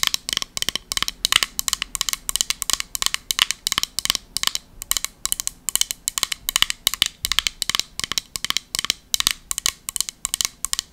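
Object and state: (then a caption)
Embossed metal compact. Long nails tap and scratch a small, round, embossed silver metal compact with a pumpkin relief. The result is a rapid, steady run of sharp, bright metallic clicks and scrapes that die away almost instantly, with almost no low end.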